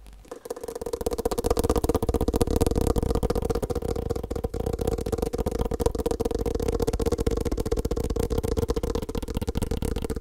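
A small, hollow, black hard-shell glasses case is held in the hand and tapped fast with the fingertips and nails. After a brief quiet start, a dense, steady stream of quick, dry clicks continues for about ten seconds, with a hollow tone near 465 Hz and a low rumble underneath.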